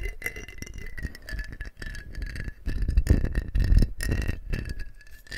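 A medium clear glass mason-style jar with a screw-on rose-pink metal lid, hollow and partly filled with water, is held in both hands and turned, tilted and shaken while fingertips and short nails grip and handle the glass and lid. The water sloshes in low, heavy surges over a dense rattle of small taps and clicks, with a faint steady tone near 2 kHz running underneath. The sloshing swells loudest around the middle and tapers toward the end.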